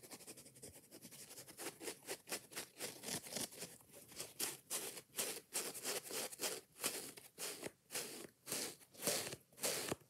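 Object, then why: Foam kitchen sponge with scouring pad. Long nails tap and scratch a yellow foam kitchen sponge, then its green scouring pad, in fast, busy strokes. The sound is a dry, bright rasping and crunchy patter. It starts as dense, blurred scratching and turns into distinct, rhythmic scrapes that swell and fade about twice a second.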